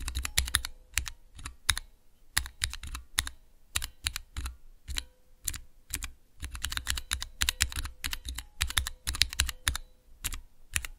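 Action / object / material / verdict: tap / mechanical keyboard switch tester with clear plastic keycaps / plastic / none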